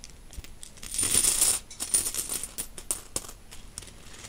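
A handful of mixed solid metal coins, silver-coloured and copper, is gripped in a fist and shaken, then dropped onto a fabric bedsheet and spread with the fingertips. A bright, high metallic jingle swells to a dense rattling burst, then thins into scattered light clinks and clicks as the coins are moved across the sheet.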